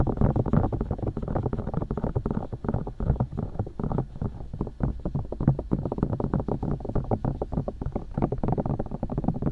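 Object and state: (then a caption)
Silicone microphone ears tapped. Long nails tap and poke the silicone ears of a binaural microphone, then fingertips take over, giving a steady stream of quick, dull, muffled taps with rubbery, thumping low-end weight. Each tap dies almost instantly, with no bright content.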